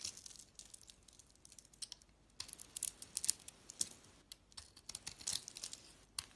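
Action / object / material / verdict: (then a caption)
scrape / bar of soap / soap / none. A hand-sized solid blue bar of soap with a white core is carved and scraped with a utility-knife blade, with chips falling away. Quiet, dry, crisp scraping and crackling come in irregular bursts, almost entirely high and bright with very little low end. Each sharp cut dies away instantly.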